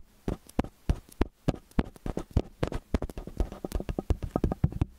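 Fingertips and nails tap the capsule heads of a metal stereo microphone with angled capsules. About 32 close, dry, low thumps and soft clicks come in an uneven, quickening patter, each dying away almost at once.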